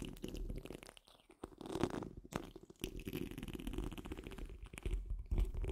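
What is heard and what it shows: Long nail tips on curled fingers scratch the rounded, hollow steel wire-mesh grille of a large condenser microphone. The sound is a dense, close, rumbling scrape with gritty crackles and brief scratchy bursts, heavy in the low end, with a faint high hiss.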